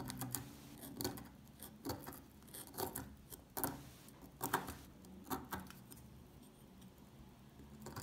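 A solid, dry, old orange-brown soap bar held in the hand has its surface scratched and picked into crumbly flakes with a metal pick. Quiet, irregular bursts of bright, crackly scraping and crunching come and go, each dying away almost at once. Softer rustling fills the gaps between them.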